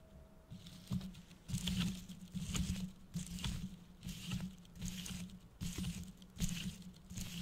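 Fingertips and nails tap and scratch a medium red and gold tinsel-covered decorative gift box that looks hollow, and its holographic foil bow. Bursts of soft, crinkly rustling and scratching come and go in uneven waves, with a bright shimmer over a steady low hum.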